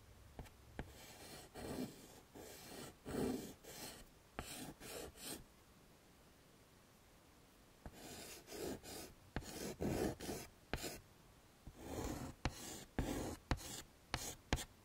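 A light blue chalk stick draws petals on a wood-framed chalkboard while the other hand rests on the frame. Short bursts of dry, scratchy chalk strokes alternate with sharp taps as the chalk meets the board. There is a quiet pause of about two seconds midway before the drawing resumes.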